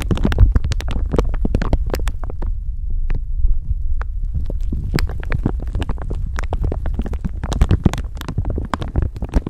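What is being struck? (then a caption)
Thin plastic bag over a microphone. Long nails rub and crinkle a thin clear plastic bag stretched over a microphone, producing a dense run of quick, bright crackles. Underneath, a steady low rumbling thump from handling of the microphone carries through the whole clip at a fairly even level.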